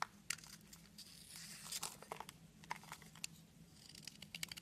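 A knife blade scrapes flakes off a solid red soap stick held in the hand, shaving off crumbly chips. Quiet, bright, crisp crackling and scraping come in a rapid series of short bursts, over a faint, steady low hum.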